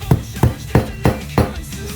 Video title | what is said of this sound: I Bought the Cheapest LS heads on Facebook Marketplace | There's an audible difference when you get it all the way down. You'll hear it. It's a solid sound.